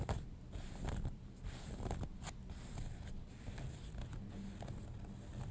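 Fingernails scratch along a folded leg of denim jeans lying flat, working near the hem seam. The scratching comes in irregular, quick rasping strokes over a steady low rumble, with a faint bright hiss above.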